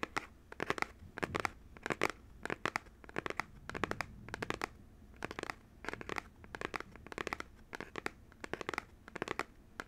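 Fingertips and nails tap and scratch a small printed paperboard retail box for Nintendo Joy-Con controllers, held in one hand, hollow and still holding the controllers. Quick clusters of dry, crisp taps and scratchy, crinkly strokes repeat throughout, each dying away almost instantly with no ring.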